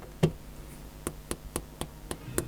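Seven sharp taps as the stock nib of a reMarkable Paper Pro 11.8-inch color E-Ink tablet's stylus strikes its textured glass screen, with one louder tap first and six lighter ones spaced about a quarter second apart. Each click is short and dry with almost no ring, showing the nib is hard rather than soft.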